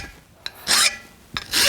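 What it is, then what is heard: Soft steel (file bites in). A file is drawn across a steel cold chisel deeper toward its base, giving two bright, hissy rasping strokes, each set off by a sharp tick. The metal comes off easily under the file, showing the steel there is pretty soft.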